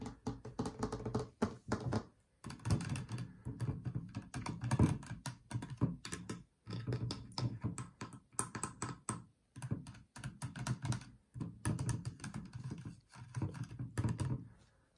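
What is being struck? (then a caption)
Plastic water bottle, partly full, with screw cap. A clear plastic water bottle with a blue screw cap, partly full of water and standing on a white nightstand, is tapped and scratched on the cap and side with long painted fingernails. Quick, dense runs of soft, dull taps and scrapes come in bursts with brief pauses, mostly low and thumpy with little bright content.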